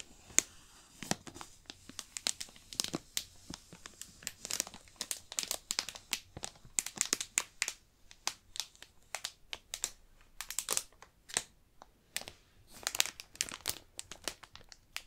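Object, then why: Book in clear plastic wrap. Fingertips rub and crinkle the shiny clear plastic wrap sealing a book. The result is a dense run of sharp, bright crinkling crackles with almost no low end, each burst dying away instantly, through about fifteen seconds.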